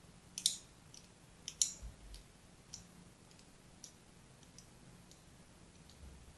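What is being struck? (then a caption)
Bar of soap scraped with a fine blade. A fine blade scratches a crosshatch pattern into the surface of a solid, hand-sized, pink-and-white striped soap bar held in the hand. Short, bright, crisp scraping clicks come at an uneven pace, the loudest near the start, over a quiet background hiss.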